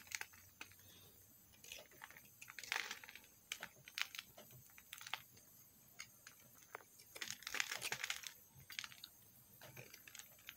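A metal knife scrapes thin shavings off a solid pink bar of soap held in the hand. It makes a quick run of short, dry, bright scratches with bursts of crisp, crinkly scraping and almost no low end. Each stroke stops dead with no ring, and the strokes sit over a quiet hiss.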